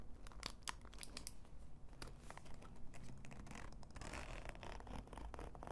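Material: Faux leather.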